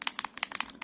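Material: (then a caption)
Metal. A bottle of white gloss spray paint is shaken to mix it, and the metal ball bearing inside clatters in quick, bright, dry clicks. The rattle sounds normal for a mixing ball moving freely in the can.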